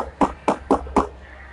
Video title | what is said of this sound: Pasang Full Peredam Suara di Mobil Eropa - VW Tiguan Indonesia | yang ini plastiknya kalau diketok dia brek gitu